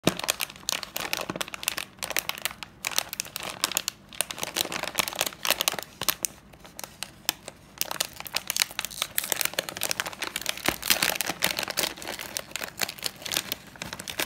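A small sealed bag of Sun potato chips made of metallized plastic film is held in both hands while fingertips crinkle and pinch its top seam, then tear it open. Dense, bright, dry crackling fills the clip with short snapping crinkles. A quieter stretch around the middle gives way to louder, busier crinkling and tearing.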